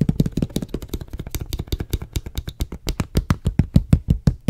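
Fingers tap and knock along a medium, clear, hollow plastic water bottle with a white label, held in the hand and appearing to hold some water. The result is a fast, irregular run of short, dull, low-pitched thuds that die away almost at once, with a faint bright click on each tap.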